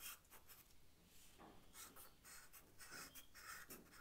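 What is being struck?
Charcoal stick on paper sketchbook.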